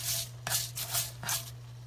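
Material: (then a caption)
Kale. Salted kale chips, cooked dry, are stirred in a pan, making bursts of bright, dry rubbing and rustling over a steady low hum. The crackly sound shows the kale chips are crispy.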